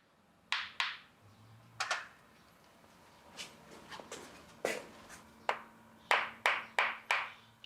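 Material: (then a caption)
Dried fish. Dried bonito (katsuobushi) blocks are knocked together in a series of short, sharp, irregularly spaced knocks, each with a bright, clacking tone near 1 kHz that dies away quickly. From the sound, this block is judged under-dried and needs at least another month of drying.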